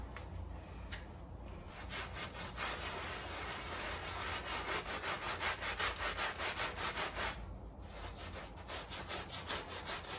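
A gloved hand scrubs a small, damp, dirty and muddy flat woven rug sprinkled with cleaning powder using a handheld scrub brush. Steady, rhythmic back-and-forth strokes produce a bright, scratchy bristle rasp over a low background rumble, growing louder and more pronounced toward the middle of the clip.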